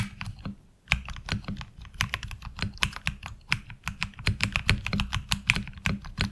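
Fingertips of both hands type on a HyperX Alloy Origins Core tenkeyless mechanical keyboard with ABS keycaps, producing a rapid, uneven stream of sharp keystrokes after a brief pause near the start. Each key gives a short, dry clack with a bright click near 2.5 kHz over a low thock, and the sound dies away almost immediately.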